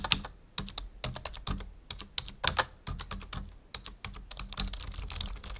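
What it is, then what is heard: Plastic computer keyboard. Fingertips type steadily on a full-size black plastic membrane keyboard resting on a wooden desk. It makes a rapid, uneven run of short, bright plastic clicks, each with a soft low thud beneath. The keystrokes stop dead with no ring, and there are brief pauses between bursts.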